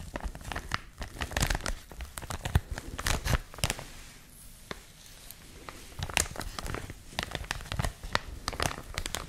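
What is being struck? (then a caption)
Thin plastic wrapper. A clear plastic packaging bag is held close to the microphones and crinkled and squeezed with fingertips and long nails. Dense crackling crinkles come with sharp, bright snaps and soft low thumps of handling. The crinkling eases into a quieter lull near the middle before building back up.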